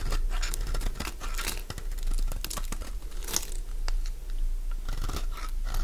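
A metal blade scrapes crunchy shavings from a partly carved solid cream bar of Fa soap held in the hand. The result is a dense run of crisp, bright crunching and tearing-like scrapes over a steady low rumble.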